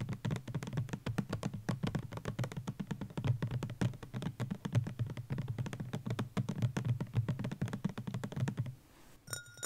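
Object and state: Plastic bottle, tapped.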